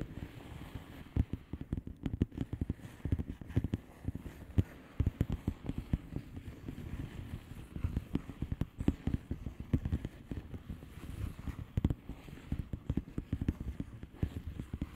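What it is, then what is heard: Bubble wrap envelope tapped with nails. Long painted nails on both hands tap rapidly and continuously across a flat blue plastic bubble wrap envelope filled with air bubbles. The taps are short, dull and low, with irregular clusters of clicks and almost no bright, high content.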